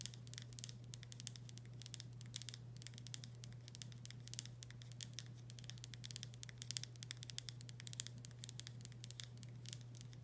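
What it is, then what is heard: Glass pickle jar tapped and scratched with nails. Long nails tap and scratch the body of a full glass pickle jar with a paper label. Quick, bright clicks and scratchy rasps come in a dense, steady patter throughout. Beneath them runs a constant low hum.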